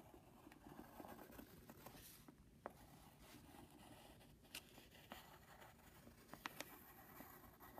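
A wooden pencil tip scratches across a flat brown Jiffy padded paper mailing envelope on a wooden desk while drawing, as the other hand holds the envelope flat. A quiet, steady papery scratching and patter runs throughout, with a handful of sharp, bright ticks standing out where the pencil catches the surface.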